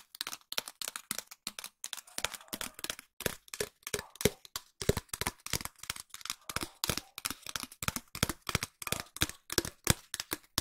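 A long, empty, hollow cardboard tube is tapped with long nails in a steady run of dozens of quick, dry taps. Each tap is a short, bright click with a faint low hollow thump and almost no ring, with a brief pause near two seconds before the tapping continues.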